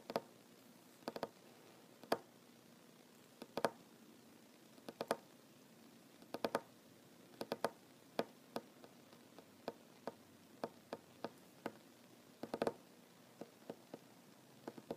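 One hand taps a large, solid wooden tabletop with short fingernails and fingertips. The result is an irregular series of quiet, dry, clicky taps, some in quick clusters, each centered around 560 Hz with a bright edge. Every tap dies away almost instantly, with very little low end.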